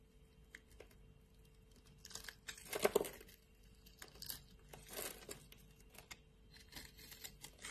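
A solid light blue bar of soap held in the palm is scored and scraped with a metal blade, flakes coming off. Quiet, dry crackling scrapes and crinkly bursts come in short, uneven strokes, with the loudest scrape near the three-second mark over a faint steady hum. The scraping fades back to soft scratching between strokes.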